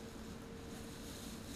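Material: Nothing is struck.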